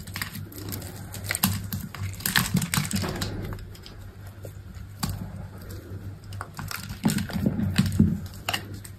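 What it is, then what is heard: Dry soap bar being carved. An orange-handled utility knife blade scrapes and carves thin chips off a dry, solid white soap bar with remnants of a black textured coating, held in the palm. Rapid dry, crisp scraping and crumbly cutting sounds come in bursts over a steady low hum, louder around the start, middle and end.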